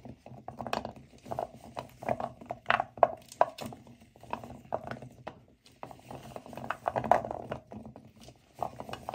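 Both hands with nails mix and rub a pile of dry, solid natural cork wine stoppers heaped in a white bowl. A steady stream of soft, dry, hollow clicks and knocks comes with a gentle rustling shuffle, centered in the mid-range with little low or high content. Each click dies away almost instantly.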